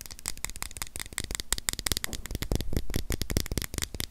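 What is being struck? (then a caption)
Small plastic USB power adapter. A small, solid white plastic USB charger adapter is held in both hands while long nails scratch and tap across its surface. The result is a fast, dense stream of dry clicks and scratchy rasps with a low hum underneath, each tap bright and very short with almost no ring.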